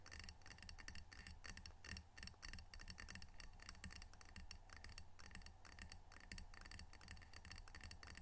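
Fingernails tap rapidly on the glazed face of a small, solid, square ceramic coaster printed "Edmonds Washington," held in both hands close up. The result is a quiet, steady stream of crisp, bright clicking ticks that decay quickly, over a low, continuous rumble.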